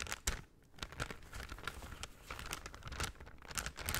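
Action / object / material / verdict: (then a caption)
scrape / folded kraft paper bag / paper / none. A folded brown kraft paper shopping bag is held in both hands and crinkled and rubbed with the fingers. Dense, bright crackling crinkles come in quick bursts, with a brief quieter lull near the start and a soft low rumble underneath.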